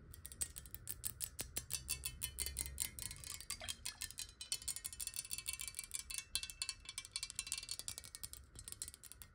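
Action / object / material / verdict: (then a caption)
tap / glass bottle partly filled with water / glass / none. A clear square glass bottle, partly filled with water, is tilted and then set upright while long nails tap on it rapidly. The quick, bright clicks have very short, high glassy rings over a faint low rumble.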